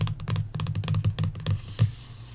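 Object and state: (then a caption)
Paperback coloring book cover. Long nails tap and trace across the glossy paperback back cover of a coloring book. A quick, uneven run of soft, dull taps with a low, thumpy body and brief crisp clicks is heard. It ends with one firmer tap and a faint scratchy trace fading out.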